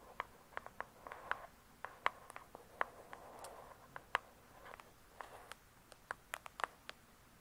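A thick hardcover book with a glossy paper-covered cardboard cover lies flat and solid while long acrylic nails tap quickly on the cover. The sharp clicks come at an uneven pace, each dying away almost at once, with a pitched ring near 1 kHz and bright edges. Quieter soft scratchy brushing fills the gaps between taps.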